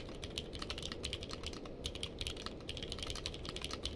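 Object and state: Mechanical keyboard with plastic keycaps.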